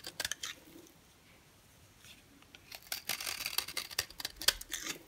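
A yellow oval bar of dry solid soap, held in the hand, is carved and scraped with a box cutter blade. A few short, crisp scrapes are followed by a near-silent pause, then a denser run of dry, high-pitched scraping and cutting clicks with almost no low end.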